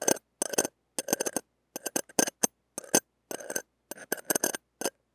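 The hooked tip of a stainless steel ear pick scrapes over a small, hollow, hand-held steel wire-mesh mini microphone grille and its rim. Short, dry, crackly scratching bursts come in quick clusters separated by silences, bright and close with almost no low end. Each scrape stops dead with no ring.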